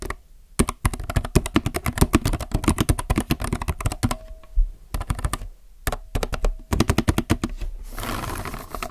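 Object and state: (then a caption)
Plastic mechanical keyboard. Both hands type with their fingertips on a compact mechanical keyboard with plastic keycaps, producing rapid bursts of short, deep, muted key clacks with little brightness. Brief pauses separate the runs, during which a faint steady tone briefly appears. The clip ends with a soft broadband hiss.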